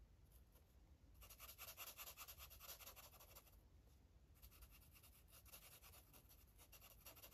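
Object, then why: Felt-tip marker on a paper coloring page. An orange felt-tip marker colors a paper coloring book page with short, quick rubbing strokes. The strokes form a soft, bright, scratchy hiss in two bursts, from about 1.2 to 3.5 seconds and again from about 4.4 seconds to the end, with a brief lull between them over a low background rumble.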